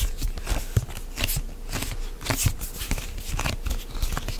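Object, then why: Plastic pump bottle. A medium white plastic CeraVe moisturizing lotion pump bottle, hollow and apparently filled, is gripped and rubbed with fingertips and nails close to the mic. A steady run of soft scratchy rubbing and brief crackly taps follows, heavy in low thuds with bright scraping edges.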